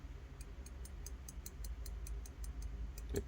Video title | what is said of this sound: TS129 Hot Mess Blade Strike Rebuild CF/Titanium M390 Review &Chastisement DO BETTER TWOSUN wtf? WTF? | The pocket clip doesn't have enough pressure pushing down on it, so it just kind of rattles when you tap it. It's not hitting the frame at all.